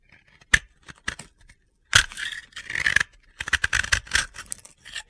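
A utility knife blade scrapes gritty flakes off a dry, powdery blue and yellow soap ball (bath bomb) with a cut flat face, held in the hands. Short, crisp crunchy scrapes come in quick bursts, with some longer rasping strokes. The sound is bright and dry with no ring.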